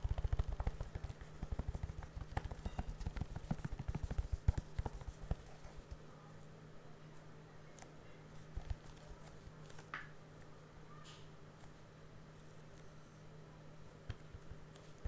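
Fingertips tap and scratch the cellophane-wrapped front cover of a hollow blue plastic The Fast and the Furious Blu-ray case, held up close in gloved hands. Rapid, uneven soft taps and crackly scratching dominate the first six seconds. After that it settles into quieter, light scratching with occasional taps over a steady low hum.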